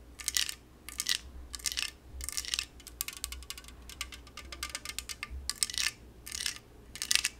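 An unopened yellow LaCroix aluminum can is tapped and scratched with very long nails, producing bright, crisp bursts of clicking and scraping that center around 2.6 kHz. Each tick dies away almost instantly, and the bursts are set against a faint low hum.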